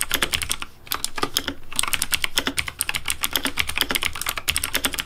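Fingertips of one hand, wearing a ring, type rapidly on a full-size pink plastic Razer mechanical keyboard with RGB backlighting and a hollow case with keycaps on switches. A fast, steady stream of sharp, bright clacks follows with a soft low thock beneath, each keystroke decaying quickly and pausing briefly near the one-second mark.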